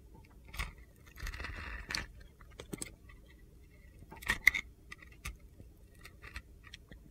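A utility knife blade scrapes and slices a heavily carved, solid red and white glittery soap bar held in the hand. A longer gritty scrape is followed by sharp, bright slicing clicks and crunchy flicks, each stopping almost at once over a quiet background.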